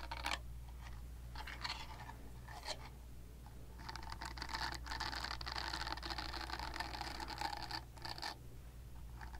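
Long nails scratch the nub side of a purple silicone facial cleansing pad, making soft, bristly scratching sounds. Short bursts come first, then a longer, steadier scrape runs through the middle of the clip. A low, constant hum sits underneath throughout.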